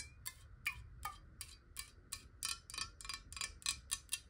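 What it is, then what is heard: Glass water bottle. Long nails tap 14 times on the sides and bottom corner of a clear, square-sided glass water bottle that is hollow and partly filled with water. Each tap is a quick, bright, high glassy click with a brief ringing tone that dies away almost at once. The taps come in a steady, fast rhythm.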